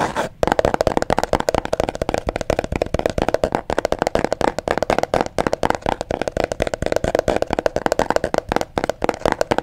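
Long fingernails tap and scratch the flat sides of a small, hollow, apparently empty mint green cardboard box held close to the microphone. The result is a rapid, continuous stream of dry, hollow clicks and rasps with a mid-range body and very short ring, keeping a steady, busy rhythm throughout.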